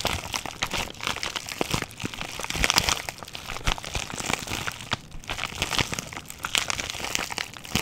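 A small pink plastic bubble wrap pouch with a red packaged item inside is held in both hands, squeezed, crinkled and scratched with fingertips and short nails. Dense, bright crinkling and crackling rustles continue throughout, with many sharp clicks and brief scratchy bursts.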